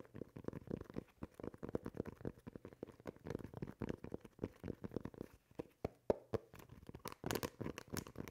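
Fingernails scratch the textured rubber tread on the underside of a basketball shoe. The result is a quick, uneven run of short, dry, muffled scrapes, about four per second, with a few sharper clicks near the six-second mark. The scratching turns brighter and louder in the final second.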